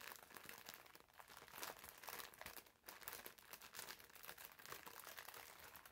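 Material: Plastic film.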